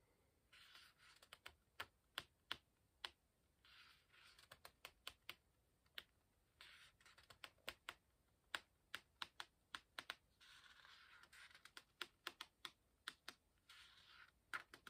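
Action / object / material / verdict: flick / paper pages of a hardcover book / paper / none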